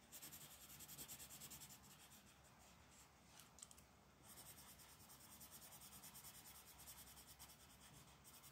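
A pink colored pencil with a wooden body and pigment core rubs across a thin printed paper mandala page lying flat on a dark wooden table, with a hand with long black nails resting on the paper. Quiet, bright, scratchy strokes repeat quickly and steadily, easing off briefly around the middle before resuming.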